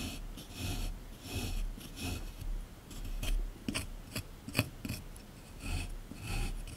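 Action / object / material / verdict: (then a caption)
scrape / plaster excavation block / plaster / none. A small chisel scrapes along the surface of a solid plaster excavation block resting in a tray, making repeated gritty, rasping strokes with bright hiss. Soft low thuds sit under a few sharper clicks, and the scraping swells and fades with each pass.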